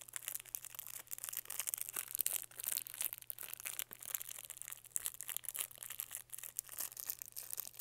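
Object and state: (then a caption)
Plastic candy wrapper crinkling. Fingertips squeeze and rub the thin green printed plastic film wrapped around a small lollipop on a white stick, held in both hands. The result is a dense, continuous run of quiet, bright crinkles and crackles. A faint low steady hum sits underneath.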